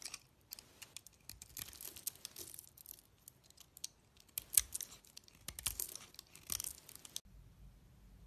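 A solid pink-coated cream soap bar is held in the hand while a box cutter blade shaves curls off it. Quiet, bright, crisp scraping and crackling strokes come in quick bursts. Near the end they stop, leaving a low hum.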